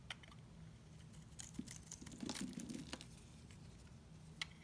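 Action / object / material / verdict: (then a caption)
scrape / bar of soap scraped with a knife blade / soap / none. A hand-sized bar of dry, solid green-and-white marbled soap is held in one hand and scraped with a utility knife blade, shaving off curls. The sound is quiet, with soft scratchy crackles and sharp clicky ticks over a low hum. A burst of denser, brighter scraping comes in the middle.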